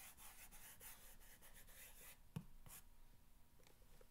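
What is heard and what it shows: An index fingernail scratches back and forth across the top of a long, hollow corrugated cardboard box, making a dense, bright, papery rasp for about two seconds. A single sharp tap lands near the middle, followed by quieter, sparser scratching strokes until the end.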